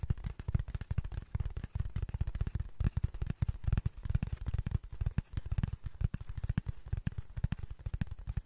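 Fingertips and nails make rapid scratches and taps on a flat brown cardboard sheet held near the mic. The result is a dense, continuous run of short, dry, dull thuds and scrapes with almost no ring, its energy concentrated in a low, muffled register.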